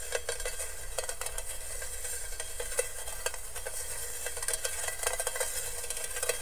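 Fingernails scratch and rub the perforated base of a hollow, empty stainless steel colander held close to the mic. The result is a steady, bright, sizzle-like crackle with quick scratchy bursts and a faint ring around 500 Hz.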